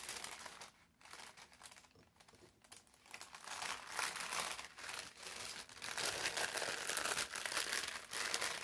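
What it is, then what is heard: Thin parchment paper being crumpled. A folded stack of thin brown parchment paper is pressed flat with the palms, then picked up and squeezed, producing dense, bright crinkling with almost no low end. The rustling is soft and broken by brief pauses at first, then grows louder and more continuous toward the end as the paper is crushed in the hands.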